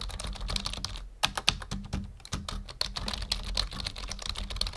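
Fingertips of both hands type on a full-size black plastic membrane keyboard resting on a wooden desk. A quick, uneven stream of short, dry key taps sounds, each a bright click over a soft low thud that dies away almost instantly. The typing pauses briefly near the one-second mark, then resumes with a few sharper strokes.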